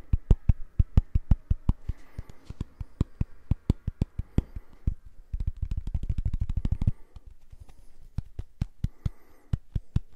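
Fingertips and nails tap and scratch a small round purple silicone facial cleansing brush pad held close to the mic. Short, dry, soft thuddy taps come in a steady stream, with a rapid flurry of taps in the middle and faint scratching underneath.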